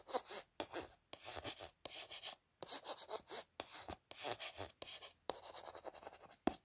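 Long nails trace and scratch across the printed text and images on different faces of a hollow, printed white cardboard smartwatch box. Quiet, dry, papery scraping comes in short bursts of rapid strokes separated by brief silences, with a bright, hissy edge and almost no low end.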